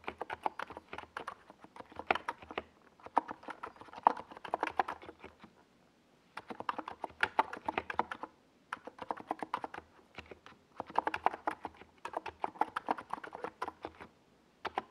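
Fingertips of both hands type on a compact 68-key NiZ Plum Atom 68 mechanical keyboard with a white plastic case and purple and yellow Domikey Gas Attack SA plastic keycaps, resting on a desk pad. Bursts of rapid, short, clacky keystrokes with a mid-range tone around 900 Hz come in several runs separated by brief pauses, each tap dying away almost instantly.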